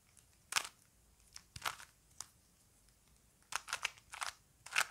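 A small plastic Rubik's cube is held in both hands while fingers twist its layers, producing short, bright plastic clicks and crunchy rubbing of the pieces. The bursts come in irregular clusters separated by near-silence, with almost no low end and no ring after each click.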